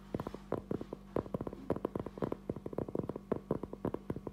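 A round, flat, solid cork trivet about 20 cm across is held upright in both hands and tapped and scratched with fingertips and short nails. It gives a fast, irregular run of soft, dull taps that die away almost instantly, with light scratchy brushing between them. A faint, steady low hum runs underneath throughout.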